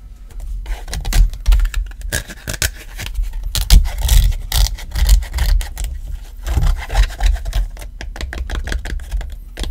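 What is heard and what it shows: An iPhone XR in a black rubbery case with a fabric card pocket is tapped and rubbed with fingertips and nails on the case edges and back. Soft, dull taps and scratchy rubbing come in an irregular, continuous stream, mostly low and muffled with brief bright scrapes.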